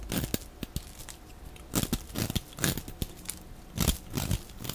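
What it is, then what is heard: Bar soap being cut and scraped. A metal utility-knife blade cuts and scrapes strips and chips off the face of a solid, dry, oval green bar of soap held in the hand, sped up to double speed. The clip is a run of dry, crunchy scrapes and crackly tearing bursts with a bright hiss, each ending quickly, over a low, soft body.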